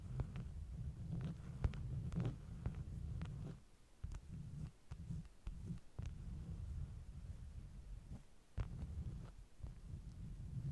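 Long nails tap and scratch the top sheets of a stack of flat beeswax-coated cotton wraps. The sound is a dull, muffled low thumping and rumbling, broken by short, sharp ticks and soft scratchy brushes, with a brief quieter stretch near the middle.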